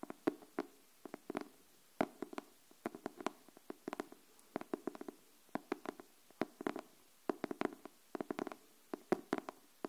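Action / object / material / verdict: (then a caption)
tap / cardboard hardcover notebook tapped with fingernails / cardboard / none. Long nails tap the cover of a pink cardboard hardcover paper notebook held upright. The clip is a quiet, uneven stream of short, dry clicks and taps, some in quick clusters, each with a hollow mid-low body around 370 Hz and a brief bright edge that dies away almost at once.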